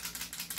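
A cheaper, John Wick-style airsoft pistol is shaken by hand, and its loose metal outer barrel rattles in three quick, bright clicks. The clacks are dry, light and short, with almost no low end. The rattle shows that the outer barrel is loose rather than fixed.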